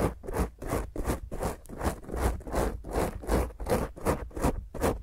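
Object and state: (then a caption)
Foam microphone windscreen being scratched. Long grey nails on both hands scratch the top of a black dome foam microphone windscreen in quick strokes. About fifteen rough, rasping scratch bursts come at a fairly steady rhythm, with a heavy low rumble under each stroke and a bright hiss on top.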